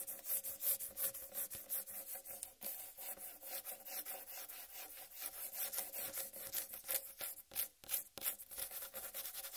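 Long red-painted nails and fingertips scratch and rub the green striped rind of a large, whole, uncut watermelon. The result is a quiet, bright, rasping scratch made of quick, uneven strokes, with almost no low end.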